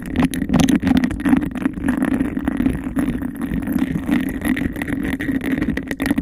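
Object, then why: Textured glass cup. Long nails scratch and tap fast and aggressively on the outer texture of a hollow, empty textured glass cup held over the microphone. The result is a dense, continuous rasping rattle with rapid taps mixed in, centered in a warm low-mid tone with little brightness and almost no ring after each tap.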